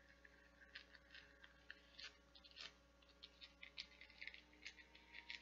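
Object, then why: Silicone nubbed bath scrubber. Long painted nails scratch the nubs and petals of a translucent blue nubbed silicone flower bath scrubber held in one hand. The result is quiet, bright, crackly scratching with many irregular short ticks over a faint steady low hum.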